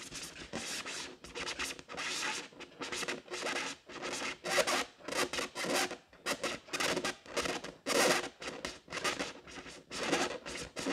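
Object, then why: Inflated latex balloon. Long decorated nails scratch the surface of an inflated pink latex balloon, hollow and air-filled, held against the body. The result is a series of dry, rasping scratch strokes in irregular bursts with brief pauses between them. They sound bright and airy, with almost no low end and no ringing after each stroke.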